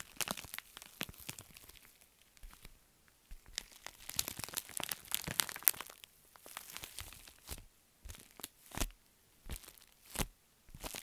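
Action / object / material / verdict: scrape / foil bubble mailer / metallic foil / none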